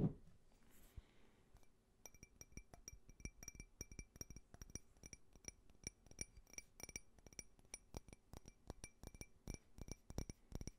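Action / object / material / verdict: tap / small faceted glass tumbler / glass / none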